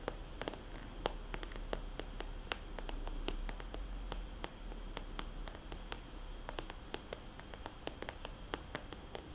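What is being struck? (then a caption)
Glossy plastic cosmetics bag. A small red polka-dot glossy plastic cosmetics bag, a hollow soft pouch held in both hands, is tapped and scratched with fingernails across its shiny surface. Quick, sharp clicks land in an uneven rhythm over a steady low hiss and soft rustling scratches.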